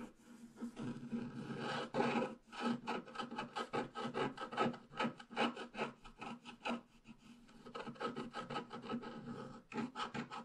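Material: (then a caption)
Coated paper. A wooden stylus scratches the trunk of a tree into a flat, black-coated scratch art paper sheet, working toward the bottom. The clip is a steady run of short, dry, rasping strokes in quick succession, with a slight hum in the low mids and bright scratchy edges. It pauses briefly near the middle and again near the end.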